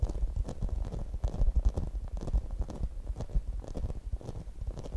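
Long nails tap and scratch a hand-sized, translucent grey rubber spiky massage ball, probably hollow, held close to the microphone. The sound is a quick, uneven run of dull, bass-heavy thumps with faint, brief bright clicks from the nails. Each tap dies away almost instantly.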